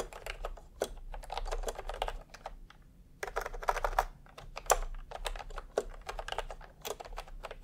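Fingertips type on a full-size plastic retro computer keyboard with round pastel typewriter-style keycaps and a hollow body, resting on a white cloth. Quick bursts of light, clacky keystrokes with a hollow plastic tone come in bursts separated by short pauses, and each stroke stops almost at once.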